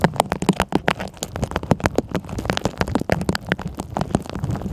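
A clear double-wall plastic tumbler with a green lid, filled with blue water beads and clear gems, is held in one hand and tapped on the lid with long manicured nails. Quick, dry plastic clicks and taps come in a dense, uneven stream with very short ring, over a low, muffled undertone.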